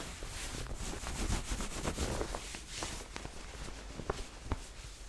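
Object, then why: Cotton corduroy jacket. Long dark-painted nails and fingertips scratch and rub across the ribbed fabric and chest pocket of a soft red corduroy cotton jacket with buttons, worn on the body. The result is a steady, quiet texture of dry scratching and soft rubbing over a low rumble, with a few sharper scratches standing out near the end.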